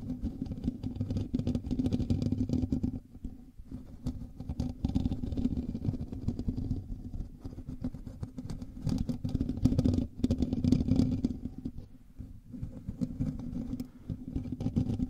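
Fingertips and nails scratch the hollow metal mesh grille of a black microphone, producing a dense, continuous scraping rustle with a heavy low-end rumble and a steady hum-like tone. The scratching runs almost unbroken for the whole clip, easing briefly around 3 seconds, 10 seconds and 12 seconds before picking back up.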